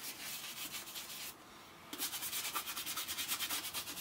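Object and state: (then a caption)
Leather boot being brushed. A small round bristle brush is rubbed briskly over the wax-coated upper of a hollow, empty brown leather Thursday Boots President ankle boot held in one hand, with a second boot standing nearby. Quick, bright, rasping brush strokes repeat in a steady rhythm, stop briefly for a quiet pause, then resume more vigorously.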